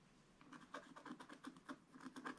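A wooden stylus scratches small areas of a black-coated scratch-art card page in a spiral book. After a quiet start, a series of short, dry scratching strokes follows, each a brief rasp with a low-mid body around 250 Hz and a gritty upper edge. The strokes are quiet and close, with almost no ring after each one.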